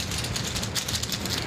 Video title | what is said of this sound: Incredible watches under $500 that are not luxury brands! | it is incredibly noisy when you take it off your wrist and you shake it